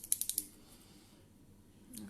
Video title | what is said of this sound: Make up avec les phares compressé Younique | Il faut secouer. Il y a une petite bille dedans.